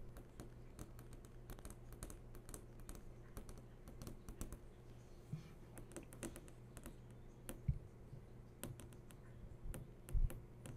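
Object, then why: Flat TV screen, glass or plastic panel. Long nails tap and trace across the hard surface of a large, switched-on flat-screen TV. Quick, light clicks with bright edges come in a steady, irregular stream, with soft scratchy tracing between them. A constant low hum runs underneath, and a few taps near the end land slightly harder.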